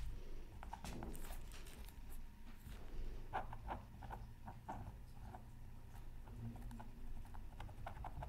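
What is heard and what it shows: A bamboo stylus makes fast, repeated short hatching strokes across a flat, black-coated scratch art card. The result is a quiet, steady patter of dry, brief scratches over a low background rumble, with a faint mid tone running through the strokes.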